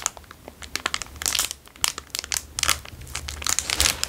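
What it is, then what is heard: Plastic wrapper crinkled. A plastic Dairy Milk chocolate bar wrapper is twisted, bent and crinkled with fingers. Dense, bright crackles and sharp snaps come in uneven bursts, with little low end and almost no ring after each crinkle.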